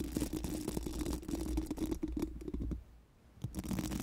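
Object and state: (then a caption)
Metal microphone grille being scratched. Four pink silicone mascara wands, held in both hands, are rubbed and scratched over a large, hollow, round metal mesh microphone grille. The result is a dense, low, rumbling scrape with rapid bristly strokes. The scraping drops out briefly near the three-second mark before resuming.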